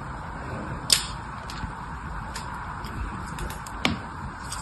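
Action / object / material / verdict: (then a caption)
scrape / bar of soap scored with a thin blade / soap / none. A thin blade held in one hand scores diagonal lines across the surface of a small, solid pink bar of soap held in the other, with other red soap bars lying nearby. Two sharp, bright scrapes stand out, with fainter scratches between them, over a steady soft hiss, and each scrape fades almost instantly.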